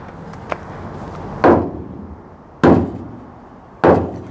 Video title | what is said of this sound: Goodbye to Our 68 Mustang "Chelsey" - From Coupe to Fastback Transformation | See how much more solid that is? It just sounds different. This is gonna help with your road noise.